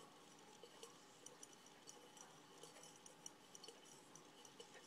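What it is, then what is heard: Glass jar with metal lid. A small decorated glass mason jar with a metal screw lid and bead or gem embellishments on its sides, looking empty or lightly filled, is tapped and scratched on the lid and sides with fingertips and nails, then held up and turned in both hands. Quiet, bright clicks and light glassy ticks, about 14 distinct taps, sound over a soft, steady scratchy hiss. Each tap dies away almost at once.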